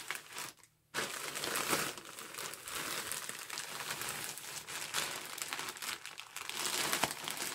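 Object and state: Plastic mailer bag.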